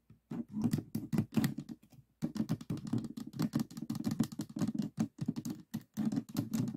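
Fingertips and nails tap repeatedly on the tiles of a 3x3 plastic speed cube standing on a table with its columns offset. The result is bursts of quick, dry plastic clicks with a low-mid body and very short decay. Brief pauses break the tapping, the longest around the two-second mark.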